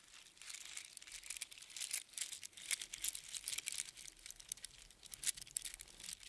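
A strand of small hollow seashells on a string is held close in cupped hands and crunched and rattled by the fingers. It makes a dense, continuous run of crisp, bright clicks and crinkly crunches with almost no low end. Louder bursts of rattling rise and fall throughout.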